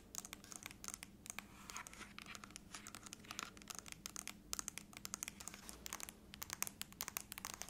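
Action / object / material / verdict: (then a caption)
tap / aluminum laptop lid tapped and scratched with fingernails / aluminum / none. Long nails tap and scratch across the top lid of a closed silver aluminum laptop lying flat. Quick, bright clicks and scrapes come in dense, uneven bursts with almost no ring, over a faint low hum.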